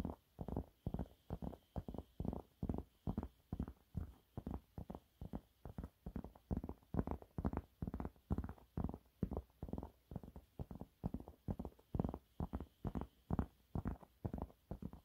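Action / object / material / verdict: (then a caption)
scrape / waffle-textured cleaning cloth / fabric / none. A yellow waffle-textured cleaning cloth is held upright while fingernails scratch rapidly across its surface. The result is a fast, steady run of short, dry, muffled rasps with a dull low body, each stroke cutting off almost at once.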